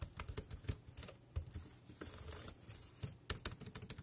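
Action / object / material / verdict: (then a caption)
tap / plastic computer keyboard / plastic / none. Fingertips type rapidly on the round keys of a dark grey plastic wireless keyboard, making about fifteen quick, dry clicks. Each keystroke has a bright, high snap over a soft low thump, with uneven gaps between strokes and almost no ring after each hit.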